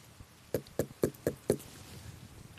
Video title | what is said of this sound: Frische Früchte: Exotisches Obst aus Bayern - freizeit mit dem Schmidt Max - Doku - BR | dumpf-hohl? - Genau. Weil das Fruchtfleisch sich zusammenzieht, wenn sie reif sind, dann ist es wie ein Schwamm innen